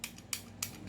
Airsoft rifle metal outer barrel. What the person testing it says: yung barrel niya kumakalog kasi hindi pa naka-fix outer barrel to